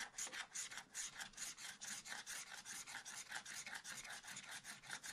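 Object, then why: Black-coated scratch art card scraped with a wooden stylus. A wooden stylus scratches strokes into black-coated scratch art paper in a spiral pad, working between drawings of potted plants. A quiet, steady series of dry, bright rasping scrapes repeats at a brisk, somewhat uneven pace, with almost no low end.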